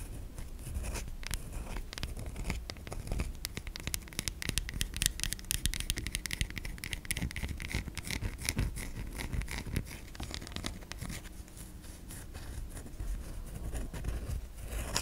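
A solid white bar of soap held in the hand is scratched across its surface and edge by long nails. The result is a continuous, dense stream of quick, dry scratching and scraping ticks with bright, crisp texture over a low, soft rumble.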